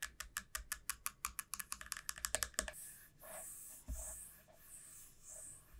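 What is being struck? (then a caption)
Dried bottle gourd shell. Long nails tap rapidly about twenty times on the narrow neck end of a large hollow dried bottle gourd resting on a felt mat, giving crisp, bright, hollow clicks with a faint woody tone. The tapping then gives way to slow, airy scratching strokes along the gourd that swell and fade in soft, high hissing sweeps.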